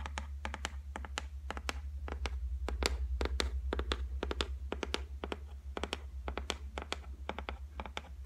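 Long white nails tap rapidly on the flat, solid top of a white laminated shelf, making a quick, uneven run of short, dry clicks. Each tap dies away almost at once over a steady low hum.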